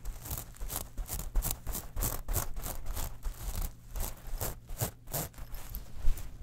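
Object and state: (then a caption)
Metal mesh wallet being scratched. Long nails scratch and tap across a small, flat, hollow metal mesh clutch wallet covered in silver, gold and black platelets. The result is a steady run of short, crisp, scratchy rasps and light taps with a bright, crinkly edge over a low underlying rumble.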